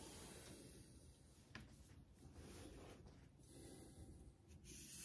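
A vintage Geneva Cutlery steel straight razor, held by the fingertips, is rubbed in honing strokes across the wet surface of a flat, rectangular, light-blue Naniwa synthetic water stone clamped in a metal stone holder over a steel sink. The sound is a quiet, continuous, breathy scraping hiss with a low rumble, swelling and fading with each stroke, plus one brief sharp tick partway through.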